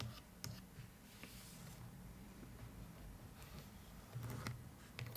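Long nails tap rapidly on the front of a hollow cardboard suitcase box near its brass metal clasp. The result is quiet, dry clicky tapping over a low hollow hum, with four sharper, brighter taps standing out.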